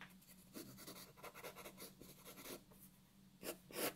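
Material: Paper.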